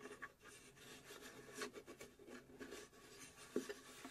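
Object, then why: Small plywood puzzle box. Long pink acrylic nails scratch and tap the engraved flat bottom panel of a small hollow plywood UGEARS puzzle safe box. Soft, continuous rasping scratches fill the clip, broken by two sharper taps near the start and near the end that die away almost at once.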